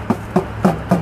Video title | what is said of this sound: Walking Wickham Park For A Geocache | that sounds like a metal one